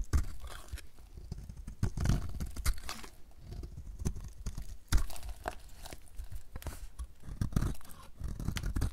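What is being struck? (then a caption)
Soap bar being cut with a blade. A utility knife blade cuts into a dry, solid light blue oval soap bar, peeling off curled, crunchy shavings. A steady run of dry crunching and scraping is heard, with sharp crackly snaps on each stroke over a dull, low thud-heavy base.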